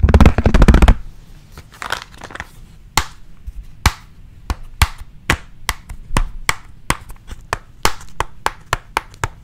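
Fingertips and nails tap a flat, hard pink plastic pencil case with a printed sticker on it. A dense flurry of rapid taps and scratches opens the clip, then about twenty crisp, sharp clicks follow at an uneven pace, each with a dull low thump and almost no ring.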